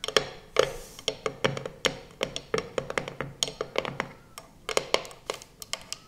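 Long purple nails tap and scratch the lid of a small, round, closed metal tin of putty with a printed paper label reading "Intelligente Pasta," sitting on a speckled surface. Around thirty quick, sharp taps land in an uneven rhythm, each a bright, dry click with a faint metallic ring around 500 Hz, separated by soft scratchy rustles. The taps die away almost instantly, with very little low-end weight.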